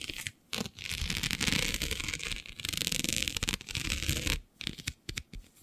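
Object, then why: Plastic mesh sheet. Long nails scratch across the grid of a flat, black, iridescent plastic diamond mesh sheet. The result is a dense, bright, raspy scratching with a low rumble underneath, running in long continuous strokes broken by a few brief pauses near the start and end.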